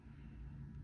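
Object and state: Nothing is struck.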